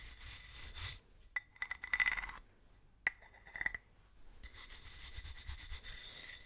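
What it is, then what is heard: Ribbed metal bottle being brushed. A wooden-handled bristle brush is rubbed along the ribbed grooves of a large, hollow, silver ribbed metal swing-top bottle held sideways in gloved hands. Bright, raspy scratching opens and closes the clip, and between these passes a series of short metallic clinks and scrapes rings briefly around 2 kHz.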